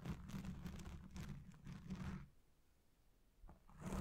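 Fingertips and nails rub and scratch a black foam windscreen dome on a Blue Yeti Pro microphone, the fingers partly covering the dome. The result is a muffled, low, boomy scraping and rustling for about two seconds. It drops to near silence, then the scratching swells back in at the end.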